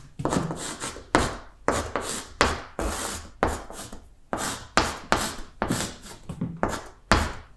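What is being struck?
Chalk stick on a blackboard.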